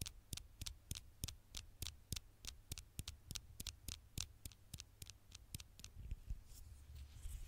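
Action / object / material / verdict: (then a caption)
tap / glass smartphone screen tapped with fingernails / glass / none. Long fingernails tap on the black glass screen of a smartphone held in one hand, making a steady run of about twenty sharp, bright clicks with no ring. A low hum sits underneath, and near the end the taps give way to softer scratching across the glass.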